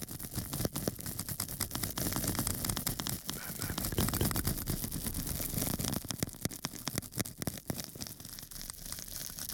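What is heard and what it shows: A small, flat square of pink porous foam sponge is held up in one hand and scratched across its surface with a small metal tool held in the other. The result is a dense, irregular crackling scratch full of quick clicks and pops over a bright, hissy texture with a fuller low body, swelling slightly in the middle before thinning toward the end.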